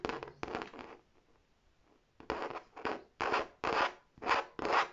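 Long nails scratch and rub across the smooth front panel of a large, hollow red faux leather tote bag with an embossed tab. Bursts of dry, raspy scraping come in quick strokes, pause for about a second, then return in steadier, louder strokes.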